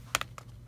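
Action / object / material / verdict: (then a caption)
tap / dried gourd / dried gourd / hollow. A gourd that has been dried in the garage is tapped four times, giving short, dry, hollow knocks with a bright tone around 1.3 kHz and almost no ring, over a faint low hum. The gourd is hollow and much lighter than it was when green.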